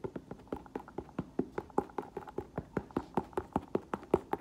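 An olive green leather ankle boot with a thick black rubber sole, hollow inside and held sideways in the hands, is tapped with nails and fingertips on the upper and sole. About 29 short, dry, hollow taps come in a quick, uneven patter. Each is a soft mid-pitched knock around 370 Hz that dies away almost at once, with little bright content.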